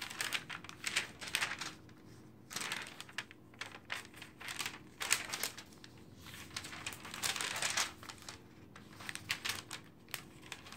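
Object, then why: Glossy paper magazine pages. Long-nailed fingers rapidly flip and slap down the thin pages of an open glossy paper magazine resting on a dark table. The result is a quick series of bright, crinkly rustling bursts and page flutters, with brief quiet gaps between them and very little low end.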